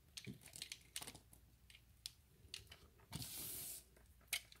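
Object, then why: Bar of soap. A utility knife blade scores a grid into a solid, pale green bar of soap held in the hand, then scrapes flakes off it. Quiet, bright, crisp scratching clicks come in quick bursts, with a steady hissing scrape lasting about half a second near the end before a final sharp click.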